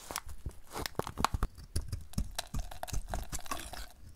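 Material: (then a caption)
Soap. A utility knife blade shaves a solid oval DURU light blue dry soap bar held in the hand, sending off white flaky shavings. A rapid run of short, dry crunching and scraping strokes follows, heavy in the low end with brief bright edges. Each stroke stops almost instantly, with no ring.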